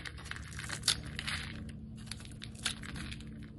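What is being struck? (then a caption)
Bar of soap cut with a metal blade. A metal utility blade scrapes and cuts across the scored surface of a solid, palm-sized red oval soap bar. The result is soft, dry, crumbly scraping and crunching with a bright, brittle texture and a couple of sharper snaps, over a steady low hum.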